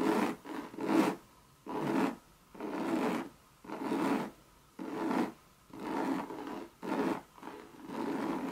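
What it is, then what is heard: Coated canvas bucket bag scratched with long nails. Long red nails rub and scratch the base and side of a hollow Louis Vuitton bucket bag in coated monogram canvas. Rough, papery scraping strokes come in bursts about once a second, with short quiet gaps between them, centered in a low-mid band with some brighter hiss.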